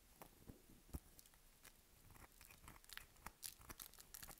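Long nails scratch the surface of a solid, dry lilac bar of soap held in the hand, scoring lines into it with quick strokes. The quiet, dry scratches come as short, crisp scraping bursts with a bright, papery crackle and a faint low thump on some strokes.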